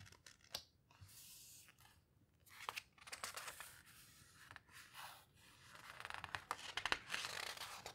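A hand turns a page of a large open paper photo book, then fingertips with long red nails rest on the coarse paper page and rub and squeeze it. Soft, bright papery swishes and scratchy rubbing rise and fall, dotted with sharp little ticks and crinkles.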